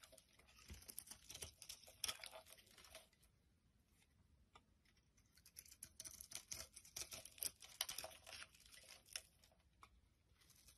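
A solid brown soap bar held in the palm is scraped with a knife blade and rubbed by fingers, with shavings piling up on the table. Soft, bright, crisp scraping and crinkly rubbing come in two dense bursts separated by a quieter stretch of faint scratching.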